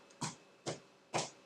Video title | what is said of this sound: Easy Homemade Bread - How To Make Potato Bread - The Easiest Bread You'll Ever Make | If it gives you a little bit of a hollow sound, like when you thump a watermelon, you get that little hollow sound through it